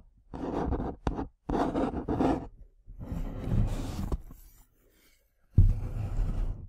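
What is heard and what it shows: Long nails scratch and tap the front and side of a small printed cardboard tea box held upright near the mic. Bursts of dry, low, papery scraping come and go, with a few sharp taps in between, ending with a sudden louder scratch.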